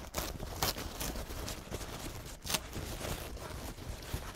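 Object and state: Crumpled paper towel.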